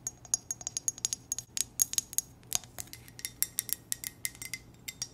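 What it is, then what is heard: Ceramic coffee mug. An empty black ceramic coffee mug with white text is tapped with long nails on its side and base, giving 29 quick, light taps over about five seconds. Each tap is a short, bright click with a faint high ring that dies away almost instantly, with almost no low end.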